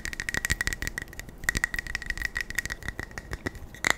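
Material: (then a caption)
Metal. A small metal beard balm tin is tapped fast and aggressively with the fingers. This produces a dense run of quick, rattling taps over a thin metallic ring near 2 kHz. Each tap dies away almost at once, and a louder burst comes at the end.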